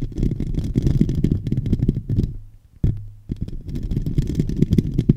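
Fingertips and nails scratch and rub the domed, hollow metal mesh grille of a silver microphone, producing dense, low, rumbling scraping with many rapid bursts. The scratching stops briefly near the middle, leaving a steady low hum, then resumes with a sharp onset and continues to the end.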